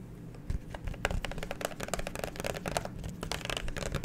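Fingernails tap and scratch the front and back of a clear plastic liquid-glitter phone case with a black pop grip, held horizontally near the mic. Quick, dry plastic clicks come in a steady, uneven stream, mixed with light scratchy rustling over a soft low rumble, and each click stops almost instantly.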